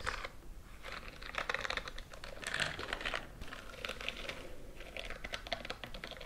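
Fingernails scratch quickly up and down the bristles on the fingers and palm of a white silicone scrubbing glove worn on a raised hand. The result is a rapid, dense stream of dry, scratchy ticking and crackling with a bright, hissy edge, coming in uneven bursts that swell and fade.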